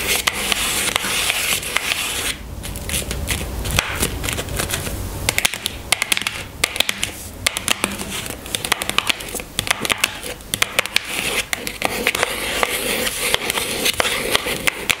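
Long fingernails tap rapidly on the top of a small pink cardboard box holding a bar of castile soap, which sits on a table. The result is a steady stream of dry, bright clicks and scratchy, crackly rustling that stop instantly with no ringing, over a faint hiss.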